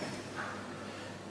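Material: Nothing is struck.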